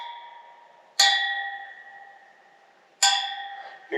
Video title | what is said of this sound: Motorcycle Wheel Lacing & Truing | All the spokes are nice and tight. You can hear them all ring when I tap them.